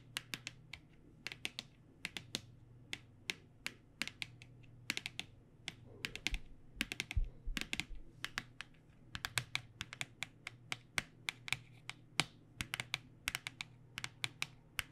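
Long dark nails tap the edges and face of an upright black printed cardboard box holding 12 paint pens. About 59 quick, bright, dry clicks arrive in uneven bursts, each dying away almost at once. A steady low hum runs underneath.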